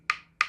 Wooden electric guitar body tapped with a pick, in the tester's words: start tapping with a pick. It's pretty obviously hollow.